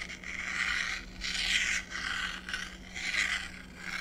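A blue stylus scratches lines across a flat, book-sized sheet of thin, solid black-coated scratch-art paper on a card backing, lying on a wooden desk while the other hand's long nails rest on it. Several bright, raspy scraping strokes swell and fade with short pauses between them. A faint, steady low hum runs underneath.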